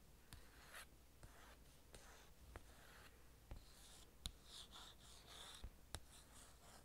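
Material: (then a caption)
Glossy paper. A long orange nail scratches and traces across the printed cover of a thin glossy paper magazine. Soft, hissy scratching strokes are broken up by sharp, brief clicks of the nail against the paper, all at a quiet level over a low background hum.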